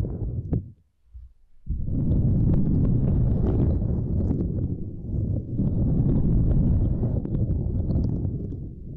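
Long nails and fingertips tap and rub over a small, flat, purple silicone grid mat resting across a microphone. After a soft start and a brief quiet gap, a dense, low, muffled stream of thumps and scratchy rubbing runs continuously, with faint bright clicks on top.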